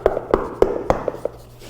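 Knuckle knocks on a 2023 Porsche 911 GT3 (992) wheel well panel treated with ResoNix CLD squares and a full layer of ResoNix fiber mat 25 over top give a series of dull, short midrange thuds that die away almost instantly with no bright ring. Compared with the untreated panel, the treated one sounds drastically deadened, which is meant to cut pebble-smacking noise and block outside noise from entering.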